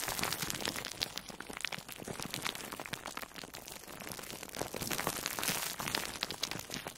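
A palm-sized, orange-slice-shaped yellow and orange foam sponge with cut holes, soft and porous and wrapped in plastic food wrap, is held in both hands and squeezed and rubbed with long nails and fingertips. The result is a steady stream of bright, dense crinkling and crackling with little low end.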